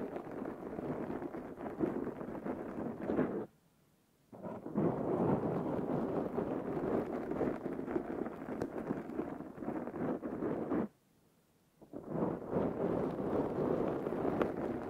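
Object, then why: Foam microphone windscreen. Fingertips and nails of both hands scratch a soft, porous black foam windscreen over a Zoom handheld recorder mic, producing a dense, rough, crackling rustle centered in the low mids. The scratching runs continuously apart from two brief near-silent pauses, around 3.5 and 11 seconds.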